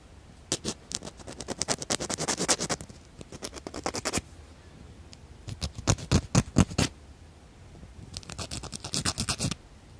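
A small hand-held emery or cardboard nail file is rubbed back and forth across a natural fingernail, held close to the microphones. Dozens of short, bright scratchy rasps come in three runs of steady filing strokes, separated by brief quiet pauses, with the middle run the loudest.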